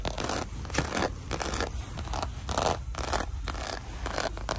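Long dark nails scratch and tap across the croc-embossed faux leather surface of a small flat red clutch lying in an open gift box. Short, rhythmic bursts of dry, bright scratching repeat steadily, with a low hum underneath.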